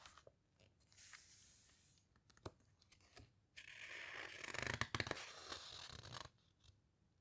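Long nails and fingertips rub, squeeze and scratch the glossy pages of an open hardcover guitar book and lift a page edge. Short, dry scratches and ticks come first, followed by a louder, sustained bright rustling scrape as the page is handled. The sound then drops back to quiet scattered ticks.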